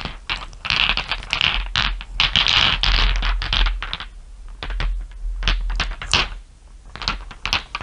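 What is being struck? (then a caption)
Small glass marbles. Long nails and fingertips tap and rub across a bed of many small solid glass marbles resting on dark fur. Irregular bright clicks and clatters come in bursts, with a soft low rumble underneath and quick, short-lived ringing after each tap.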